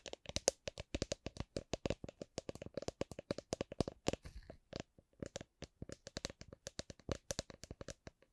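A drink shaker is tapped gently, producing a run of about 38 short, dry taps with a faint tone near 535 Hz. The taps come in a steady stream, with a brief pause around the five-second mark before they resume.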